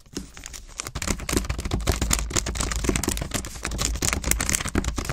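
A full-size solid chocolate bar, still sealed in its shiny purple plastic wrapper, lies flat on a table while long acrylic nails tap and scratch quickly along the crinkly wrapper. Dense, irregular clicks and crackling crinkles run almost nonstop after a quieter first second.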